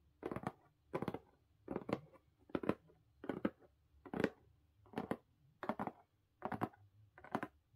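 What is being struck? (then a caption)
Corrugated cardboard box. Long pink nails on both hands scratch and tap the lid and top edge of a closed blue corrugated cardboard mailer box. About ten short, dry, crackly bursts of quick clicks come at a steady pace, roughly one every 0.8 seconds. The sound is quiet, with no ring, and quiet pauses fall between the bursts.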